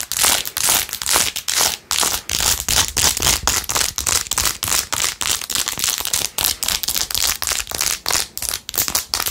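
Long nails rapidly scratch the edge and back of a blue-jeweled, glitter-covered plastic phone case set with rhinestones. The sound is a quick series of bright, crinkly scratching bursts with little low end, each stroke cutting off sharply before the next.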